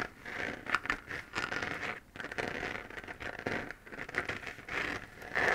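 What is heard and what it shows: Long fingernails scratch across the textured surface of a hollow, glowing 3D-printed plastic moon lamp sphere. The result is a dry, crackly scratching that comes in uneven bursts with short pauses between strokes. Its energy is centered around 1–2 kHz, with little low end and no ring after each stroke.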